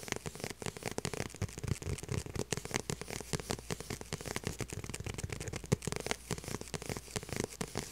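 Long purple nails rapidly tap and scratch the flat, hollow back of a small light blue faux leather handbag. The result is a dense, crackling stream of short, dry clicks and scratchy rasps over a soft, hollow low thump, with a few louder taps standing out.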